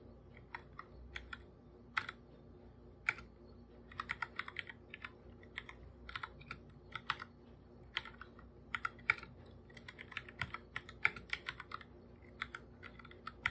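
Bare fingertips type continuously on a full-size black plastic computer keyboard with plastic keycaps and a hollow body. Dozens of quick, bright, clicky taps come in uneven bursts, each dying away almost instantly. A faint, steady low hum sits underneath.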